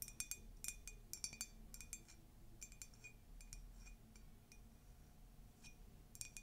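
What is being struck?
Ceramic mug.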